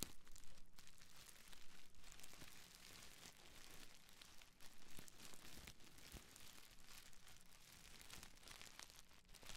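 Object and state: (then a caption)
Plastic bubble wrap. A small folded bundle of clear, air-filled plastic bubble wrap is held in both hands close to the mic and squeezed, crinkled, and scratched with long nails and fingertips. The result is a quiet, dense, irregular stream of bright crackling and crinkling, with occasional sharper snaps and scratchy rustles throughout.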